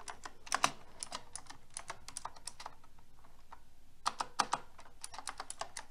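Fingertips with long red nails type steadily on a pink mechanical keyboard with round plastic keycaps and a silver metal frame. About 28 short, sharp clicky keystrokes are heard, bright and centred near 1 kHz, each dying away almost instantly. There is a brief lull in the middle before a few louder strikes resume the typing.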